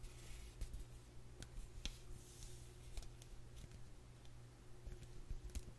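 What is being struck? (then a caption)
Small cardboard sleeve. Long nails scratch and tap the front and back of a small, flat, black printed cardboard eyeshadow palette sleeve held in the hands. Soft, dry scratching is broken by brief, crisp taps with bright edges over a steady low hum. The result is quiet, with the taps ending almost as soon as they land.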